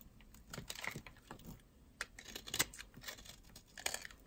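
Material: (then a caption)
Soap. A solid white oval bar of dry soap is held in the fingers and carved down with a metal utility knife blade, scraping off dry, powdery flakes. Quick, crisp scraping and crunching strokes come in irregular bursts, bright and hissy with little low end.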